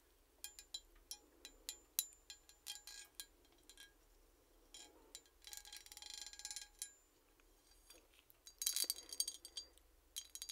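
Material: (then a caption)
Metal. Long painted nails tap and scratch across the raised relief on the back of a hand-sized, solid, gold-tone embossed metal hand mirror with inset jewels, held flat. The result is a quiet, bright series of crisp clicks and tinkly metallic taps with almost no ring. Short rasping scratch bursts run between them, with a denser flurry of taps near the end.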